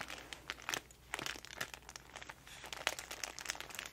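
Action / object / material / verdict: scrape / paper-wrapped parcel / paper / none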